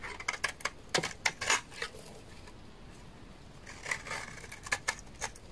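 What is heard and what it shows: A large, solid, dry beige laundry soap bar is shaved with a utility knife blade, giving crisp, bright scraping clicks and short crunchy strokes. The strokes come in two clusters separated by a quiet pause. Each is dry and brief, with almost no ring.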